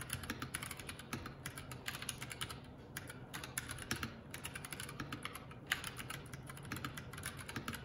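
Fingertips of both hands type continuously on a Keycool K84, a 75% mechanical keyboard with plastic keycaps. A steady stream of quick, bright clacks runs through the whole clip over a low, soft background rumble, with a few keystrokes landing harder than the rest.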